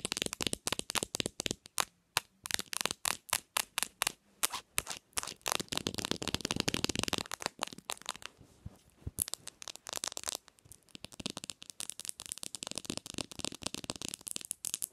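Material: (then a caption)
Glass, plastic. Long nails tap rapidly on a bare black Samsung smartphone, first on its plastic back and camera area, then on the glass screen. The taps are dry, sharp, and bright, with short bursts and pauses between quick runs of clicks.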